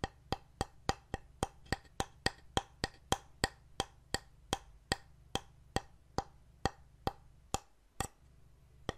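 Fingernails tap and scratch a painted solid wooden heart plaque with wooden buttons, held in the hands. There are 25 crisp, dry taps at a steady pace, each with a bright click centred near 1.9 kHz that dies almost instantly. A faint low hum runs underneath throughout.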